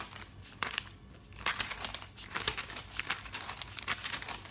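A thick paper catalog lies open on a table while fingertips quickly riffle and flip its glossy paper pages. Rapid, bright crinkling and papery swishes come in dense overlapping bursts, with sharp snaps as pages fall.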